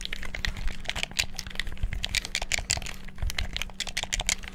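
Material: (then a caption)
Plastic. Fingertips rapidly mash the buttons and move the sticks of a black hollow plastic gamepad. A fast, continuous flurry of sharp, bright plastic clicks and clacks comes with soft low thumps, over a faint steady low hum.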